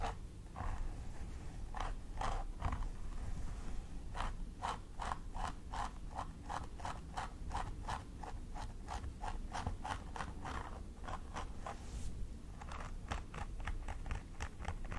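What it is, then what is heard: Plastic doll head with synthetic hair being scratched. A thin wooden stick scratches along the scalp parting of a plastic doll head with synthetic hair, while fingertips with long nails hold the hair. Quick, crisp scratching strokes come in rapid runs with brief pauses between them, all over a steady low rumble.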